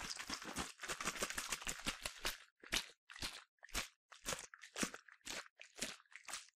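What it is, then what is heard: Plastic bottle partly filled with liquid. A yellow plastic sunscreen bottle, partly filled with liquid, is shaken back and forth by hand. It makes rapid, bright, crunchy sloshing bursts for the first couple of seconds, then separate splashy bursts with short silences between them, roughly two per second.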